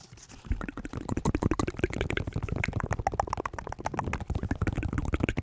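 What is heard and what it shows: A pair of white New Balance 608 sneakers, made of synthetic leather with rubber soles, is tapped in a rapid, continuous run of many light strikes. Each tap is a short, dull, low thump with almost no ring, and the tapping continues steadily after a quiet start.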